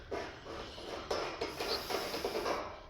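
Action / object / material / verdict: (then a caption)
knock / metal vehicle fuel tank / sheet metal / empty. A vehicle's fuel tank is knocked on a few times, giving short, hollow, mid-pitched knocks over a faint hiss. The tank sounds empty, holding only about half an inch of fuel, not enough to keep the vehicle running.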